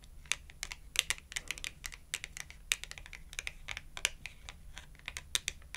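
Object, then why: Glossy cardboard clothing tag. Long acrylic nails rapidly tap the edge of a small red glossy cardboard clothing tag held edge-on. The result is a quick, irregular stream of dry, bright clicks that stop almost instantly, over a faint low hum.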